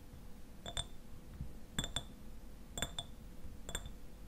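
Fingernails tap a clear glass eyewash bottle that stands upright and is partly filled with liquid. The taps come in short clusters of bright, glassy clinks that ring near 3.4 kHz with high overtones and die away almost at once, over a low background hum.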